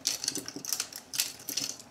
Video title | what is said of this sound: I ORDERED 9 FREE ARTS & CRAFT SUPPLIES FROM WISH Cash or Trash? | sounds like plastic sounds very plastic